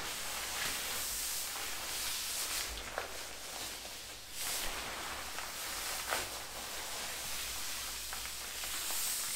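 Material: Nothing is struck.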